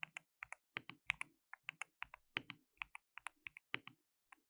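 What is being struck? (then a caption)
Plastic mechanical keyboard. Both hands type steadily on a compact, hollow, white-cased plastic mechanical keyboard with white and pink plastic keycaps and an RGB backlight, pressing the keys with their fingertips. The result is a rapid, uneven run of about 23 short, bright, clacky key strikes that die away at once, with some hits falling in quick pairs.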